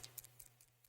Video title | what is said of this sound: Water Color Painting on Quilts.....and Acrylic Markers Too!!! Live hangout with Lisa Capen | There's a little ball rattling.